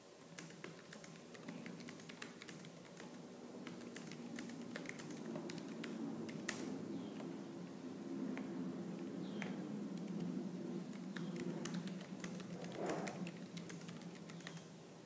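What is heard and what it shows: Fingertips with purple-painted nails type fast and hard on the black plastic keys of a laptop keyboard. A steady stream of sharp plastic clicks and taps rides over a low hum, with brief bright ticks and a few faint sliding sounds between keystrokes.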